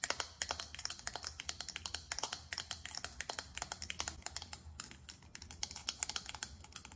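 Rapid tapping with long nails on a small faceted glass perfume bottle with a silver metallic cap produces a dense run of sharp, bright clicks that die away almost instantly. A faint low hum sits underneath the quick, uneven taps.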